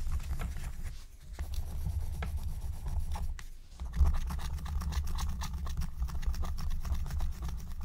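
A wooden stylus scratches a thin black-coated scratch-art card lying flat, making quick short strokes. Dense, dry scratching with brief bright ticks continues throughout over a steady low rumble, with a short quieter dip just before the middle.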